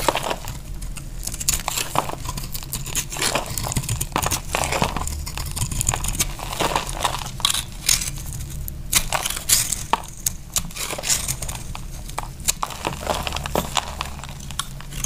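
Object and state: Dry bar soap.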